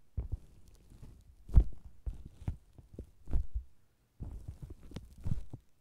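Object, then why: Faux leather cosmetics bag. Fingers with long green nails tap and pat the red top of a round, hollow faux leather cosmetics bag with a microphone inside, after hands handle its sides. The taps come as deep, muffled, boomy thumps at an uneven pace, each dying away almost at once, with a brief silent gap before a final cluster.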